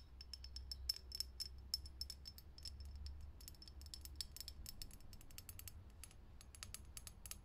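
Long fingernails tap fast on a lit, hollow, clear glass vintage filament light bulb sitting in a socket. Many quick, dry clicks sound, each with a brief, bright, high glassy ping, over a steady low hum.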